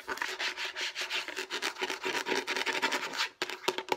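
Fingertips and long nails rub and scratch quickly across a hollow, light blue plastic food storage box. The result is a steady run of bright, dry, raspy strokes with a faint hollow plastic ring. It briefly stops near the end before a few sharper scratches.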